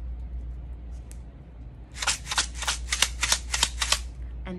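Tube number four, which holds rice, is shaken again in a quick series of about ten sharp, hissy rattles over two seconds. The grains make a bright, dry rustle over a low steady hum, and the clip ends quietly.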